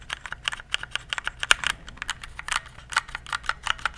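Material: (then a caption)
Plastic. Fingertips press the keys of a compact RGB plastic mechanical keyboard in quick, uneven typing. Each keystroke makes a short, bright, clacky tap with a sharp attack and almost no ring, with one louder strike about halfway through.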